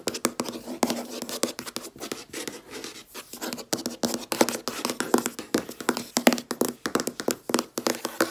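Long red-painted nails and fingertips tap rapidly on a large, solid, flat white laminate desk top. The result is a dense run of short, dry clicks and taps with no ring, mostly in the mid and upper range.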